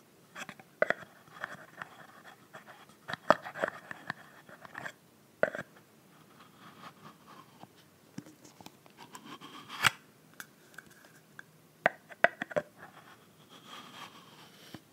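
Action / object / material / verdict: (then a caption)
tap / plastic body mist bottle with plastic cap / plastic / none. Long nails tap and scratch the frosted pink plastic cap of a plastic body mist bottle filled with pink liquid. Sharp, dry clicks with no ring are scattered among soft, scratchy rustling. The taps have a light plastic tone and bright edges, over a quiet background.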